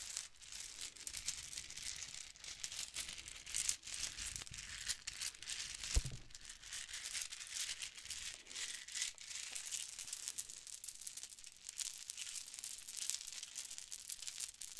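Gold and blue metallic plastic Mardi Gras bead necklaces are handled in both hands while long nails tap and scratch the small hollow beads, then the strands are dangled and shaken. The result is a steady, bright, crinkly clatter of quick tiny clicks and rattles with almost no low end and a single sharper click partway through.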